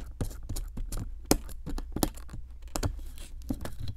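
A metal chisel scrapes at a solid pink plaster block around a buried bone piece. It makes an irregular series of short, dry, gritty scrapes with a low thud beneath and brief bright rasps. Each stroke stops quickly with no ring.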